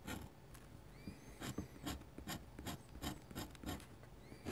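A dip pen with a metal nib, held in the fingers, scratches short ink hatching strokes across a large, solid, thin, flat sheet of white drawing paper lying on a desk. The result is a quiet series of brief, dry, rasping scrapes, each a soft bright hiss over a low rub that stops almost at once.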